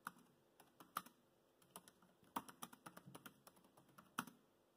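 Fingertips type on the black plastic chiclet keys of a dark grey laptop keyboard, producing about nineteen short, dry clicks at an irregular pace. The taps are quiet and sharp with almost no ring, and each carries a faint mid-pitched tick with bright edges.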